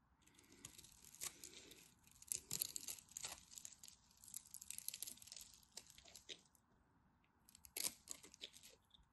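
A craft knife scores and scrapes crunchy flakes from a dry, solid purple and white striped bar of soap held in the hand. Quiet, bright, crackling scrapes come in dense bursts, pause briefly near the seventh second, then return with a final sharp crunch.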